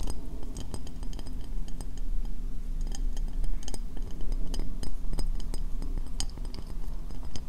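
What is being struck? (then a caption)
Ceramic bowl. Long painted fingernails tap quickly on a medium, hollow, empty white ceramic bowl turned upside down over the microphone. A steady stream of short, bright clicks rides over a deep, boomy low hum trapped under the bowl, and each tap dies away almost at once.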